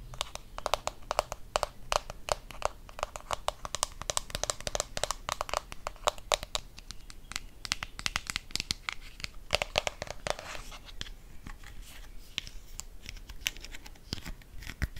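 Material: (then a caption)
Plastic. Long nails tap and scratch the body and cap of a blue plastic deodorant stick. Rapid, sharp plastic clicks mix with bright, crinkly scratching, each tap short and dry with almost no ring.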